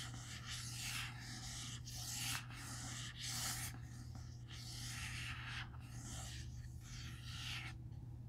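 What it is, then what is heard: Hardcover book cover being rubbed. Fingertips rub and scratch the front cover of a large, closed, solid black hardcover comic omnibus of Marvel's "The Eternals," then the book is turned and its spine is rubbed. Soft bursts of bright, dry scratching come and go in uneven strokes over a steady low hum.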